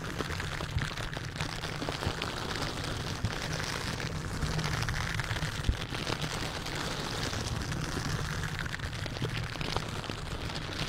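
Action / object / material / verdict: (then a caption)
scrape / metal mesh microphone grille / metal mesh / none. A silicone bristle dish glove worn on the hand scratches and rubs the hollow metal mesh grille of a large white condenser microphone in repeated strokes. The result is a dense, steady, rain-like scratching with a heavy low rumble under a bright, crackly rustle, broken by a few sharper clicks.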